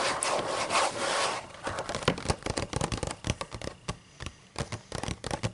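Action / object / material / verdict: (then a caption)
scrape / paper book pages / paper / none. Long matte nails rub and scratch across the white paper pages of an open book. A steady, bright, papery rub lasts just over a second, then breaks into a quick, irregular series of short, dry scratches with a slight low thump on some strokes.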